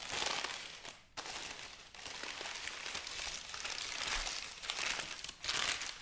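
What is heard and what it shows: Thin, white crinkled wrapping paper is folded into a flat bundle while fingertips and long nails press and rub it. The result is a steady, bright, dense crinkling and rustling, with short quiet dips near 1, 2 and 5.4 seconds before the crackle picks up again.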